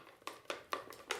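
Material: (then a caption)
Paper. A box with a $100 bill inside, box 3 in a magic trick, is shaken, giving five quick, bright papery rattles and taps with almost no low end. When the box is later dumped out, a $20 bill comes out.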